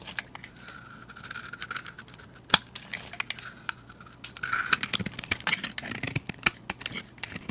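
A metal utility blade shaves curls off a solid translucent cream soap bar held in the hand. The result is a run of crisp, bright scraping strokes and short ticks with little low end, with one sharp, louder snap midway and a denser, hissier stretch of shaving toward the end.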